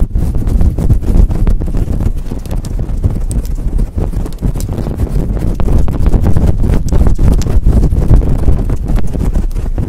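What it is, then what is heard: Faux fur microphone windscreen being scratched. Long nails rapidly scratch a fluffy faux fur windscreen on a microphone while hands cup it. The result is a dense, loud, irregular stream of rough, thumping scrapes with a deep, muffled low-end rumble and almost no high tones.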